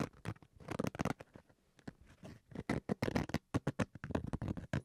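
Fingernails scratch the surface and zipper edge of a black zippered Switch carrying case, fabric stretched over a hard shell. A quiet, rapid series of short, dry scratching strokes, some in tight bursts and some with brief pauses, with mostly low, muffled body.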